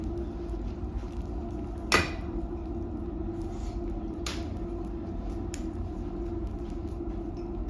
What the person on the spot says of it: sounds like glass right and why is that because this is glass this is volcanic glass